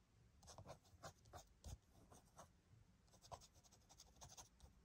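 Fingernail tips tap and scratch the front cover of a flat, hollow blue plastic PS5 video game case for Call of Duty MWII, which is lying on a white surface. The result is a quiet, uneven series of short, dry plastic ticks mixed with bright scratchy rubs, with a soft hollow thump under some taps.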